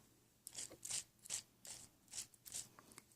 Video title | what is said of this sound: ASMR Gentle Tapping sounds - Whispered | I kind of like the sound of the solution when I shake the bottle